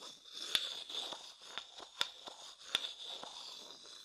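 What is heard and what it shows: A thin wooden stick scratches and taps the inner surface of a medium, hollow, empty light wooden bowl held on its side next to the microphone. Soft, dry scraping and crackling runs throughout, broken by sharp, bright tapping clicks with a ringing tone around 3.5 kHz that die away almost instantly.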